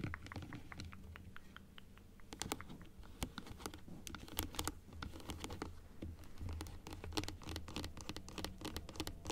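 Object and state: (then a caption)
Plastic dental teeth model. Long acrylic nails tap and scratch across the plastic teeth and gums of a plastic typodont dental model. The sound is a quick, irregular run of sharp, bright clicks and dry scratches, each dying away almost instantly. A steady low hum runs quietly underneath.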